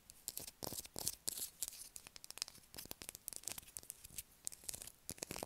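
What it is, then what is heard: Bar of soap scratched with fingernails. A solid blue bar of soap held in the hand is scratched hard with long acrylic nails, shaving off bits of soap. The sound is a quiet, rapid series of short, dry, bright scraping strokes with very little low end, each stopping almost instantly with no ring.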